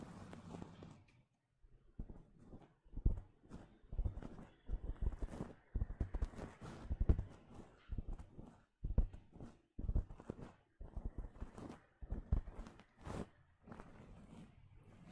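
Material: Fabric.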